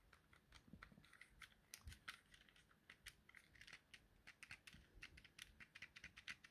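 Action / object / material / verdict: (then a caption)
tap / plastic handheld game controller / plastic / none. A thumb presses and clicks the buttons on a small, hollow, yellow plastic Nintendo Joy-Con controller held in the hand. The result is a quiet, rapid series of short, bright plastic clicks and taps with very little low end, each dying away almost instantly.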